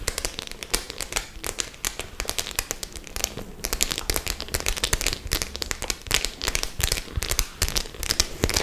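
Long nails tap and scratch across the metal studs of a white studded faux-leather clutch bag. The result is a dense run of sharp, bright clicks and scratchy crackles with almost no ring, over a faint low hum.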